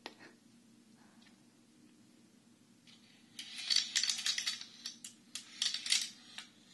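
A Chinese abacus with a wooden frame and red wooden beads is held at both sides and tilted or shaken, so the beads slide and clack. After a few faint ticks in a quiet opening, a quick, irregular run of bright, sharp wooden clicks and rattles begins midway and dies away almost instantly between bursts.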